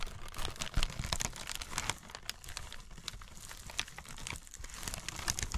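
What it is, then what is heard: Crinkled tissue paper. A crumpled sheet of tissue paper spread flat on burlap is rubbed, scratched and crinkled by fingers with long red nails. The result is a dense run of bright, crackly crinkles over soft low rustling, with sharper scratchy bursts near the start and end.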